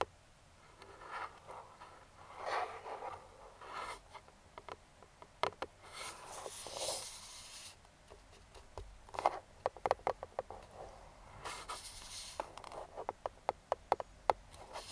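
Metal claw finger rings scratch and trace over the printed flash image on a hollow, printed cardboard speedlite box lying flat. Soft, dry scraping swishes alternate with quick, sharp clicking taps, which grow more frequent toward the end. The sound is quiet and close, with no low rumble and no ring after each contact.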